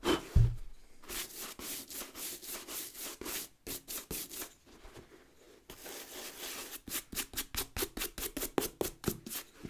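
A wooden bristle brush scrubs the rubber lug sole and brown leather upper of a leather work boot in repeated strokes. Each stroke gives a dry, scratchy hiss, bright and breathy, in a fast, slightly uneven rhythm. After a soft thump at the start, the strokes pause briefly midway, then return quicker and sharper toward the end.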